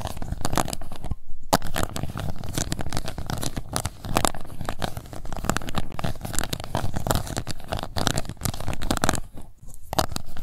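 The bottom of an empty, transparent pink plastic cup is scratched with long nails, making a dense, continuous run of rapid scratchy, crinkly strokes. The strokes come in quick bursts with a few brief pauses. The result is a steady, textured rasping with a low, hollow body under light bright edges.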